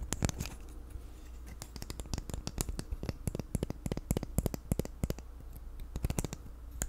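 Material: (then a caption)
Plastic. A small, hand-sized black plastic infinity cube fidget toy, hinged and made of solid blocks, is flipped and clicked with the fingers and tapped with the nails. It makes a rapid, irregular series of sharp, dry plastic clicks and taps with bright edges, over a steady low hum.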